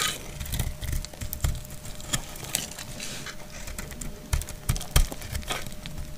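A solid, translucent green glycerin soap bar held in the hand is shaved with a utility knife blade, and crumbly green shavings fall away. Short, dry scraping crackles and clicks come in quick irregular bursts over a soft low rumble, with a few sharper, louder snaps near the end. A faint steady tone hums underneath throughout.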